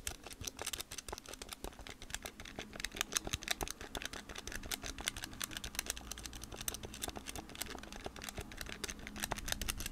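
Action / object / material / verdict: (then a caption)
tap / plastic calculator with rubber keys / plastic / none. Long painted nails and fingertips rapidly tap and press the rubber/plastic keys of a hand-sized blue Casio scientific calculator with a plastic body. The result is a dense, continuous stream of short, sharp clicks and clacks over a faint low hum.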